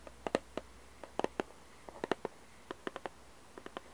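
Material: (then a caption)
Cardboard. Long red nails tap and scratch the glossy printed lid of a small, hollow cardboard jigsaw puzzle box. About 19 short, dry, hollow taps land at an uneven pace, each with a mid-pitched knock and a faint bright click. Every tap dies away almost at once against a quiet background.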